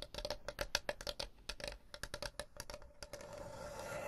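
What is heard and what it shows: Long blue nails tap and scratch the checkered top and edges of a small, closed, hollow folding wooden chessboard case held in front of the microphones. Nineteen quick, crisp taps with a hollow midrange ring come first, then the sound shifts to a steady, bright scratching over the last second.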